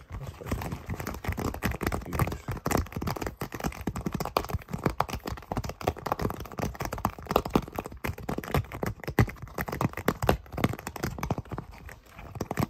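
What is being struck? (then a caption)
Silicone pop-it fidget toy. The hollow bubbles of a thin, flexible, round green silicone pop-it fidget toy are pressed and popped with fingertips in a rapid, steady stream. Each pop is a short, soft, muffled thud, heavy in the lows with almost no brightness, dying away at once.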